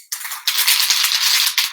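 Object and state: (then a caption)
Aerosol spray can with mixing ball rattling inside. An aerosol can of floral color spray paint is shaken, and the small mixing ball inside rattles in quick, bright clicks over a continuous high, hissy clatter. The ball stirs the contents so the can gives an even spray.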